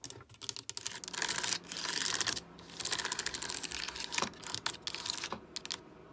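Long acrylic nails and fingertips tap and press the hollow keys of a full-size black plastic gaming keyboard with RGB backlight. The result is rapid, bright, clicky clatter in uneven bursts, with a few sharper isolated clicks and a faint steady low hum underneath.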